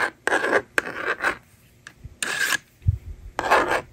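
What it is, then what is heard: Plastic magnetic drawing board. A yellow plastic stylus scratches numbers across a handheld plastic toy magnetic drawing board, and its slider is used to erase. Dry, raspy strokes come in short bursts with a steady tone near 1.6 kHz, broken by quiet pauses and a soft low thump.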